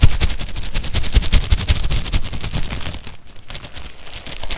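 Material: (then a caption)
Plastic film. A long stack of white ribbed disposable cups, hollow and empty and still in a clear plastic wrapper, is held in both hands and squeezed and crinkled through the wrapper with the fingertips. Rapid, dense crackling onsets with bright edges and a low, thumpy body run throughout, briefly easing off just past three seconds before picking up again.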